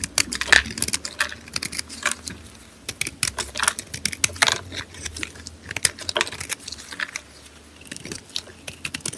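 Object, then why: Bar of soap. A small green-handled blade scrapes shavings off a solid white rectangular bar of dry soap held in gloved hands, with another soap bar nearby. Quick, crisp, bright scraping crackles come in irregular bursts with brief quieter pauses, each scrape ending almost instantly with no ring.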